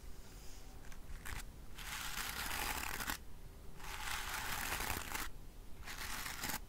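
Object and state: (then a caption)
Bristle hairbrush. Fingertips and nails scratch and strum the dense black natural bristles of a wooden-framed hairbrush. The result is a bright, crackly rasp in long sweeping strokes, broken by brief quieter pauses, with a faint low rumble underneath.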